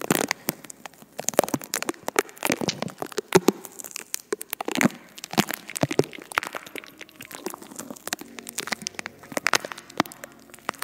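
Long acrylic nails on both hands tap and scratch the bare, hollow silver metal mesh grille of a large condenser microphone. The result is a dense stream of sharp, dry clicks and crackly, crinkling scrapes with bright upper detail and almost no low end, each sound stopping instantly without ringing.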